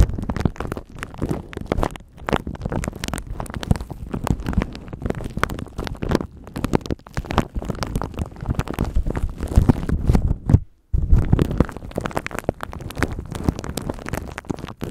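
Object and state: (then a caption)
Plastic wrap crinkled on a microphone. A thin clear plastic bag wrapped around a microphone is rubbed and crinkled by the fingertips and nails of both hands. The result is a dense, continuous crackling rustle with a heavy, muffled low rumble, broken by a brief silence near the eleventh second before the crinkling resumes.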